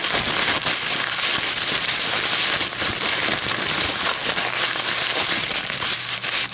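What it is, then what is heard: Paper coffee filter. A crumpled, empty white paper coffee filter is held in the hands and crinkled and squeezed with long metallic nails. A continuous, dense, crackling crinkle fills the whole clip at a steady level, bright and hissy with almost no low end.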